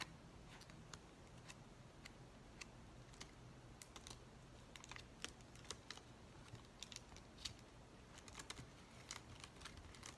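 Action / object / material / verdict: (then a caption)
scrape / plastic poly bubble mailer / plastic / none. Fingers crinkle and scratch the open flap of an empty white plastic poly bubble mailer with a dimpled surface. Sharp, bright crackles and ticks pop out at irregular moments over a quiet, steady rustling hiss with a low rumble beneath. Each crackle dies away almost instantly.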